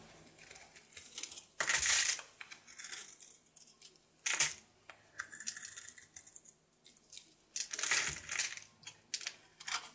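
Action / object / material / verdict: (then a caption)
scrape / bar of soap cut with a knife / soap / none. A solid rectangular blue bar of soap held in the palm is shaved and carved with a red patterned knife blade, making dry, bright scraping and flaking sounds. Short crisp scrapes are broken by louder, longer shaving strokes near 2, 4.5 and 8 seconds, with almost no low end.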